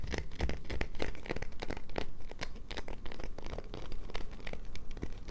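Long nails rapidly scratch a solid light-blue bar of soap held in hand, making a steady run of dry, crumbly scraping strokes over a low rumble. Shavings pile up on a paper towel below.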